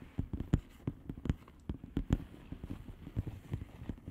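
Long nails rapidly tap the bubbles of a flat blue plastic bubble wrap envelope. The result is a quick, uneven run of soft, dull, low taps that stop almost at once, with very little brightness.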